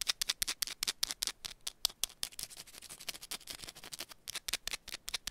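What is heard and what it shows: Long pointed nails rapidly scratch and tap a small, solid, rectangular yellow bar of soap held in one hand. About 28 quick, irregular, dry clicks and scrapes are heard, bright and crisp with almost no low end and no ringing.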